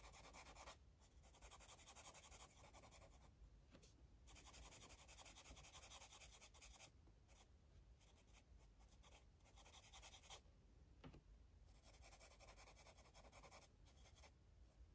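A blue marker colours in small shapes on a paper colouring book page with quick rubbing strokes. The result is a soft, bright, scratchy rubbing that runs in bursts, broken by brief pauses between strokes.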